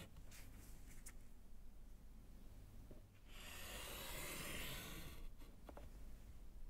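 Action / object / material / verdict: scrape / wood-framed slate chalkboard / slate / none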